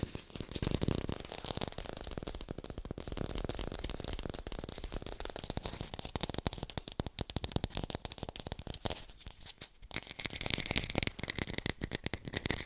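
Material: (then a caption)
Plastic. An artificial plastic red apple is fast-tapped and recorded with a hi-fi microphone. Rapid, dense, dry clicks run continuously for about 13 seconds with no ring, and a scratchy, crinkly texture lies over a low thump.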